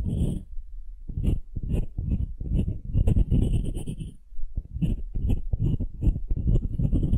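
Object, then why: Wooden cube. Long nails scratch and tap the end-grain face of a solid pale wooden cube marked with growth rings. Dense, dry, low-heavy scraping bursts and quick taps come in clusters, each decaying almost instantly, with faint high hissy edges on the strokes. Two brief pauses break up the otherwise continuous rustling.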